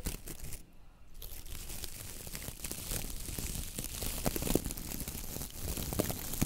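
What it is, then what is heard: Coconut fiber dish brush. Long nails and fingertips flick and scratch through the stiff coir bristles of a coconut fiber dish brush head. A dense, dry, crackling scratch drops to near silence for a moment near the start, then runs steadily with sharper flicking snaps toward the end.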